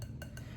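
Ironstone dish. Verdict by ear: Crazed.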